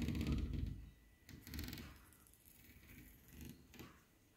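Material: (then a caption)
Aluminium. Fingertips and nails tap and scratch along the raised ridges of a thin, shiny ribbed aluminium decorative panel mounted on a wall. The result is soft, low thumps layered with brief, bright scraping rasps. These come in several uneven bursts that fade quickly.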